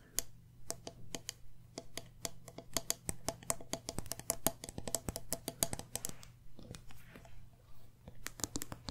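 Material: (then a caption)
Glass. Long nails tap quickly and irregularly on the sides, metal lid and bottom of a medium glass candle jar filled with wax. Dozens of sharp, bright clicks die away almost at once, some with a faint tone near 660 Hz. A steady low hum runs underneath.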